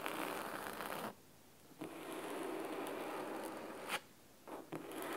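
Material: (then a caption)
Cloth. Fingernails of both hands scratch the cloth top cover of a large, solid red cloth-bound hardcover book resting on a wooden table. The result is a dense, crisp, raspy scratching with bright texture, broken by two short quiet pauses. A sharp bright scrape stands out just before the second pause.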